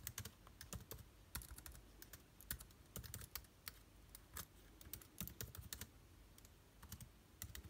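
Both hands type with their fingertips on the plastic keycaps of an aluminium-bodied laptop keyboard. The result is a steady run of quick, dry key clicks with bright tops and soft low thumps, each dying away almost at once, with brief pauses between bursts.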